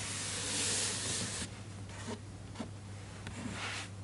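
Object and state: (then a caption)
Paper book page being rubbed. A fingertip traces across the printed paper illustration on an open hardcover children's picture book, staying on the same spread, then the hand moves toward the page edge at the end. A loud, bright rubbing hiss fills the first second and a half, then fades to softer, scattered brushing strokes over a steady low hum.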